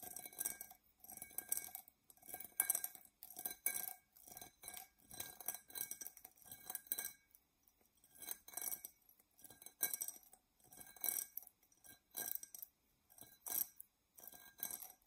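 An empty, hollow, dark glass drinking tumbler, held in both hands, is scratched with long nails around its body and rim. The result is a quiet, bright, dry scratching and clinking in short irregular bursts, with faint glassy ringing tones that fade almost at once.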